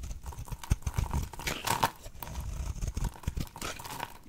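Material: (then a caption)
Soap. A blade cuts into a solid oval pink dry soap bar held in the hand, shaving it into fine crumbly curls that crackle off. Dense, short crackling and crunching scrapes run throughout, mostly low and thuddy, with a few brighter scraping bursts and quick-dying ticks.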